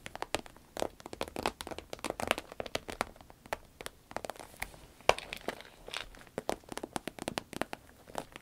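Long red nails squeeze, scratch and tap a small, cylindrical, shiny green vinyl zip pencil case that is hollow and soft. The result is a quiet, dense stream of short, dry crinkles and crackles, each tap brief and bright with almost no low end.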